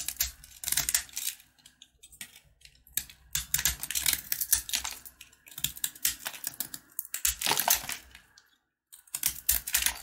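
A box-cutter blade repeatedly scrapes and carves the crunchy surface of a red and white sugar-coated peanut candy bar held in the hand. Bursts of bright, dry crunching and scratching come in quick, uneven runs with short pauses, and a brief silence falls just before the end.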